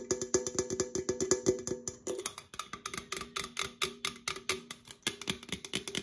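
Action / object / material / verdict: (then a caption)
tap / opened aluminum drink can / aluminum / none. Long acrylic nails tap rapidly on the side and near the open top of an opened, hollow red Coca-Cola aluminum can as it is rotated between the hands. The fast, bright metallic clicks carry a short hollow ring around 375 Hz, clearest in the first two seconds. Later taps sound duller and more scattered.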